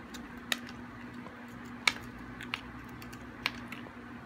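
A metal blade carves a small, solid, hard and dry chunk of green bar soap, giving short, crisp, bright scraping clicks at irregular intervals. Each click dies away almost at once over a faint, steady low hum.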